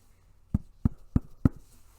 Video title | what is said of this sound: FREE Beginner's Embroidery Pattern | until I can hear that tapping noise coming from my embroidery it should be drum tight